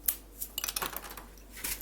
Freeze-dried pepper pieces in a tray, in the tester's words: just hear how crispy that is